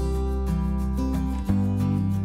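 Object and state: Nothing is struck.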